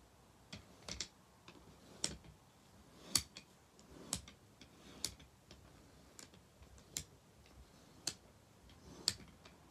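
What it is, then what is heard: Wooden bead abacus. Fingers push groups of painted solid wooden beads along the metal rods of a wooden abacus, so the beads knock and click together. About a dozen short, bright, dry clicks sound at an uneven pace, each dying away almost at once over a quiet background.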